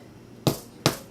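Two taps on the top of a freshly baked sourdough loaf give short, dull, hollow knocks with a low thump around 145 Hz that die away quickly. The hollow sound means the bread is fully baked.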